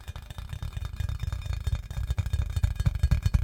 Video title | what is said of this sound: ASMR tapping assortment to help you sleep | it is very satisfying to listen to